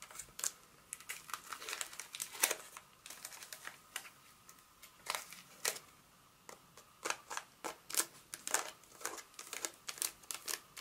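A solid Hershey's milk chocolate bar in its paper wrapper, held in the palm, is tapped and scratched with long acrylic nails, first on the back and then on the front. Quick, dry, bright clicks and crinkly papery scratches come in irregular bursts, with almost no low end and each tap dying away at once.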